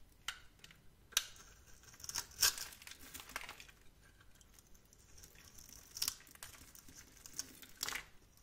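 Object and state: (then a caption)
Soap bar being scraped and cut. A metal blade scrapes and cuts cubes and flakes from the face of a solid, palm-sized lavender bar of soap held in one hand. Quiet, dry, bright crinkling scrapes are heard, punctuated by a few sharper, louder cuts with almost no low end and very brief ring.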